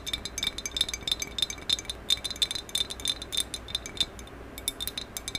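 Long acrylic nails tap quickly along the top of a medium maroon glossy hollow ceramic vase with a black band, held horizontally. The result is a rapid, irregular stream of dry, bright clicks and clinks that stop almost at once. Each one has a sharp high ring over a faint low background hum.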